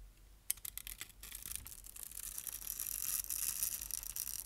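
A utility knife scrapes shavings off the crosshatched top of a solid, dry brown soap bar held in the hand, and the flakes crumble away. Quick, crisp scratches start with sharp clicks around half a second in. They build into a continuous bright, rasping crackle that stays mostly in the high range.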